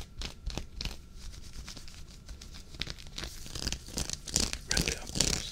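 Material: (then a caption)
Knit fabric. Fingertips and nails scratch and rub a worn, dark waffle-knit henley sweater near the button placket. The result is a run of brisk, uneven scratching and rasping strokes with a bright, papery hiss that grows busier and louder toward the end.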